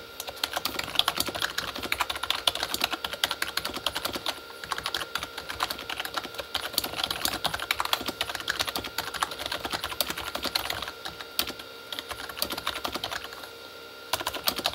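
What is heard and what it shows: Both hands type very fast with their fingertips on a Corsair K35 plastic membrane keyboard with red backlit keys. A dense stream of short, bright plastic key clacks runs almost continuously, each tap dying away instantly. There is a brief lull near the end before the typing resumes.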